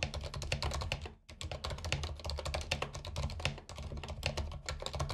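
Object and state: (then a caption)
Plastic mechanical keyboard being typed on. Fingertips of both hands type on a compact white mechanical keyboard with plastic keycaps and RGB backlight, lying on a carpet. A rapid stream of sharp, bright key clicks rides over a dull low thud from each press, with short pauses near 1.2 and 3.6 seconds.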